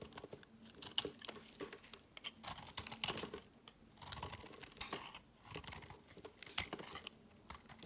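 A metal knife slices small pieces off the edge of a solid striped lilac, yellow and black layered soap bar held in the hand, cutting again and again. The sound is a quiet series of short, bright, crisp scraping and crunching cuts that come in clusters. Each cut dies away almost at once.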